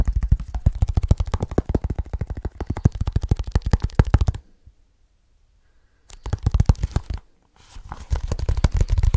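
Fingertips of both hands tap quickly on a small black leather bag held close to the mic, making a dense run of short, dull, deep thumps with no ring. The tapping stops for a near-silent gap of about a second and a half, starts again briefly, pauses once more, then resumes.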